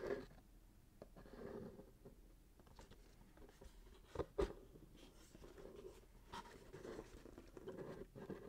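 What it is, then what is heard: Gift-wrapped cardboard box being scratched. A small cardboard gift box wrapped in gold glitter paper, lid closed, is held and tilted in the hands while fingertips and short nails scratch and rub along its sides and top. The sound is a quiet, muffled scratching and papery rustling, mostly low and mid-toned with little brightness. A couple of sharper, louder scrapes stand out near the middle.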